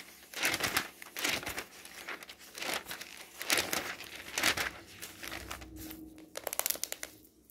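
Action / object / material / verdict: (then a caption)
scrape / glossy paper catalog / glossy paper / none. A hand flips the pages of an open glossy paper home goods catalog and rubs them flat with the fingertips. This gives a bright, crinkling rustle in uneven bursts, with a few sharper crackles near the end.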